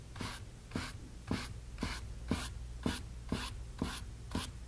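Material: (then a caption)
Cotton canvas. A flat brush with a teal-stained head is rubbed lightly across a small, blank, white stretched cotton canvas panel (taut fabric over a hollow frame) resting on a wooden table. Repeated soft, bright, brushy swishes come at a steady stroking pace, each with a faint low thump from the taut surface, over a constant low hum.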